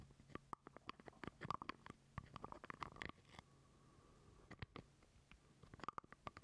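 A small, hollow purple plastic jar lid is held close to the mic while fingernails scratch and tap on it. The result is quick, dry clicks and scrapes with a hollow tone near 1.1 kHz. The taps come in dense bursts around a quieter stretch in the middle.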